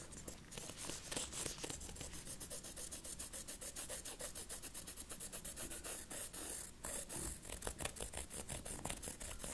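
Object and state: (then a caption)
Faux ostrich leather wallet. A small, flat red wallet of textured faux ostrich leather, held in latex-gloved hands, is scratched with a thin wooden stick. Rapid, steady scratching strokes give a soft, dry rasping with bright, airy hiss over a low rumble, running continuously with a short pause near the end.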